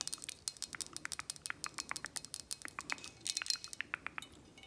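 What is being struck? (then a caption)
Square glass bottle, full of liquid. Long acrylic nails tap and scratch the flat glass sides and labels of a square glass 1800 Añejo tequila bottle, full of amber liquid and held in hand. The result is a rapid run of many short, bright, clicky taps with a faint glassy ring, with a brief high tone near the middle.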